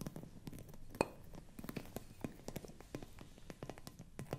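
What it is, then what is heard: Glass bottle with glass stopper. Fingernails scratch and grip the glass stopper of a hollow frosted glass bottle held close, twisting it slightly. Soft scratches and small ticks run throughout, with one sharper glassy clink near the start. The sound is quiet and close, with short, dry taps.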